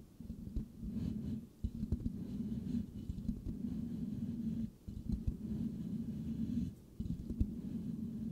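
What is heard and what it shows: Palms and fingertips cup and rub the hollow silver metal mesh grille of a microphone head, scratching slowly. A dense, muffled, low rumbling scrape with small sharp clicks runs almost continuously. It drops out briefly a few times between strokes, and there is nothing bright above.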